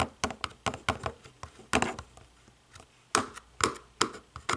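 Long nails tap and click the white buttons of a hollow black plastic DVD/TV remote. Short, dry, bright clicks and hollow taps come at an irregular pace, some in quick pairs, each dying away almost at once between quiet gaps.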